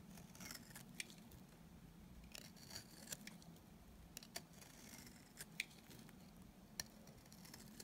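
A small, solid, rounded dry white soap bar is held in the hand and carved along its edge with a utility knife blade, dropping dry crumbly shavings. Quiet, bright scraping and cutting sounds repeat over a low steady hum, with occasional sharp crisp clicks as the blade bites through.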